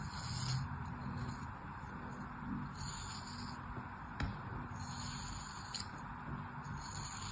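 A craft knife scrapes packed kinetic sand flat in a small yellow plastic mold, making a soft, continuous gritty scraping over a low rumble. A few brief, sharp clicks rise above the steady rasp, with bright hiss in the upper range.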